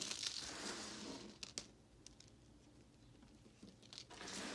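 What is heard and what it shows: Two hands with long glittery nails grab, squeeze and crumble a pile of broken white and red-swirled solid bar soap chunks on a pink surface, rubbing them together. Dense, bright crumbling and crinkling fills the opening second, then thins to a few sharp crackles and scattered faint patter before the crunching swells again at the end.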